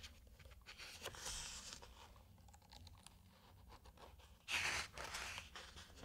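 A flat open hand rubs and slides over a glossy paper page of a large hardcover aviation book lying open, making soft, bright, scratchy brushing sounds. The hand then grips the page edge and turns it, giving a louder, crisp crinkling swish near the end before the rubbing resumes quietly.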